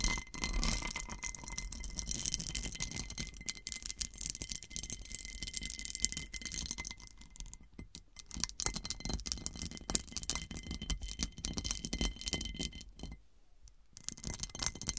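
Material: Glass.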